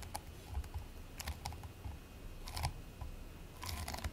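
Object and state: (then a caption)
Play foam ball squished by hand. A fist-sized ball of purple and white play foam, made of tiny polystyrene beads in a sticky binder, solid and soft, is squished and pressed between bare fingertips and palms, then set down on a white plate. The quiet handling gives a series of short, dry crackles and sticky clicks with bright edges over a soft low rumble, each snap dying away almost instantly.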